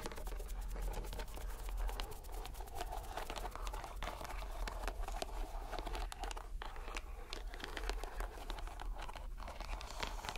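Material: Rubber.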